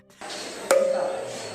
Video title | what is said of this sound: Ces Artefacts Antiques défient les Lois Physique ! | Si vous tapez sur l'une des colonnes de pierre, vous entendrez une musique